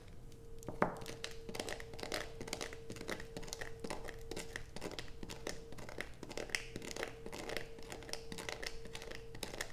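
A solid blue bar of soap, first held and then resting on black plastic, is scratched rapidly with long acrylic nails. Dense, dry scraping and crinkling strokes repeat throughout, with bright, gritty edges over a low background rumble and a faint steady hum.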